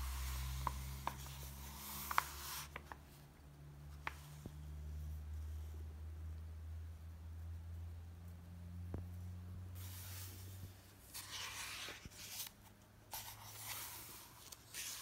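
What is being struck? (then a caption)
Softcover paper comic book. Fingertips rub across the thin paper pages of an open softcover paper comic book resting on a dark table. Quiet bursts of bright, papery swishing come and go over a steady low hum, with a few faint taps in the first few seconds.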